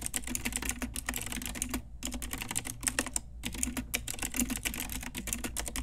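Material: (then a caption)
Plastic. Long nails and fingertips type on an Ajazz pink retro typewriter-style mechanical keyboard with round plastic keycaps, producing rapid, bright clacking keystrokes over a steady low hum. The typing runs in quick bursts with two brief pauses.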